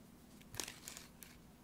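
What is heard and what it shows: Fingertips and long nails tap and scratch the printed front of a small, sealed, full laminated foil-plastic tuna pouch resting on a placemat. About five quiet, crisp taps ring out, bright and crinkly with a short scratchy rasp, over a faint low hum.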